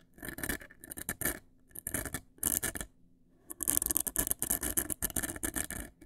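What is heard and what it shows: Long acrylic nails scratch and tap the front face of a large, hollow, black printed cardboard cosmetic box. Bursts of dry, bright, rasping scratches mix with quick, short taps, with brief pauses near 1.5 and 3 seconds. The sound grows denser and louder in the second half.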